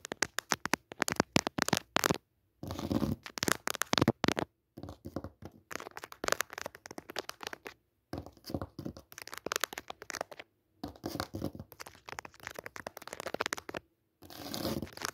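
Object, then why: Cotton cutwork tablecloth on a hard surface. Long nails scratch a thin white cutwork cotton tablecloth lying on a hard surface. Dense bursts of dry, crackly scraping and rustling come in short runs, separated by brief silences. The sound is close, papery and bright with little low end.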